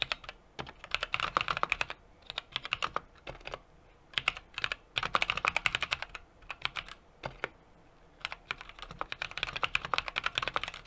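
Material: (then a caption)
Plastic, metal. A small 60% mechanical keyboard with an aluminum case, brass plate and plastic cherry-profile keycaps sits on a desk and is typed on continuously with the fingertips of both hands. Bursts of rapid, crisp, bright key clacks come in quick runs separated by short pauses, each stroke sharp and dying away almost instantly.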